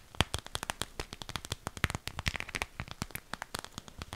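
Long pink acrylic nails tap and scratch the flat, crinkly side of a small, clear PVC zip cosmetic pouch with purple trim and a smiley-face print, held up close; the pouch is hollow and looks empty. About 29 sharp, dry clicks and crinkly plastic crackles come in a quick, uneven stream, bright on top with a soft low thump underneath, and each one dies away almost instantly.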